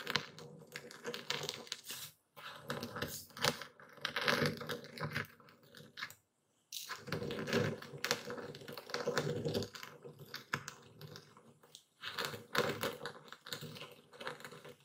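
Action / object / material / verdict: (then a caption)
strike / epsom salt crystals in a wooden bowl / salt crystals / none. A dark speckled stone pestle, held in one hand, pounds and grinds coarse white epsom salt crystals in a full wooden bowl steadied by the other hand. Dense bursts of dry, crunchy crackling and quick clicks are heard as the crystals crush, with brief pauses about a third of the way in and just before the midpoint.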